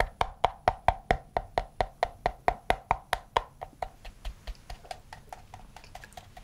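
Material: Leatherette.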